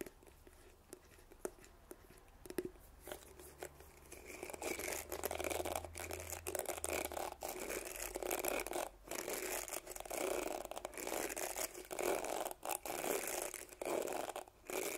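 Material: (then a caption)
Plastic. Fingernails scratch and flick the short plastic bristles of a teal plastic detangling hairbrush with a floral-patterned back, held close to the microphone. The first few seconds bring faint, sparse ticks, then a dense, bright, crackling scratching that rises and continues in uneven bursts with brief pauses.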